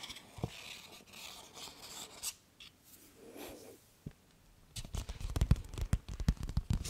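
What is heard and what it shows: A medium blue paper gift bag with a peacock feather print and ribbon handles, hollow and apparently empty, is scratched and rubbed with long nails. Soft, bright paper rustles and scrapes come first. They build into a denser run of quick, crackly scratches and thumps in the last couple of seconds.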